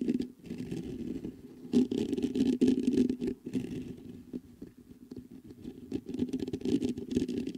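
Fingertips patter and scratch across the mesh grille of a black metal USB microphone. The result is a dense, irregular rustling and scraping with a strong hum-like body around 250 Hz, swelling into louder bursts and then easing back.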